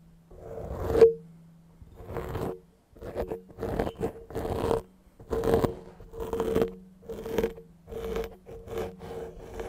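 Fingertips and nails quickly scratch a soft, porous grey foam microphone windscreen with repeated rubbing strokes. The result is a series of short, fuzzy scratching bursts separated by brief pauses, with a faint steady hum running under the strokes.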